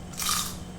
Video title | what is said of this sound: Fish & Chips - Q&A - Get to know me!! | so you can hear how crispy that is you can just tell by the sound